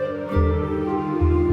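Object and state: Nothing is struck.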